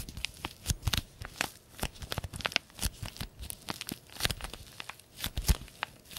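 A small green-printed paper tea bag sachet, flattened and folded, is rubbed and crinkled between the fingertips. It gives a steady run of dry crinkles and short, sharp tearing-like crackles, each snapping off quickly. The crackles carry a bright papery edge over a soft low thump.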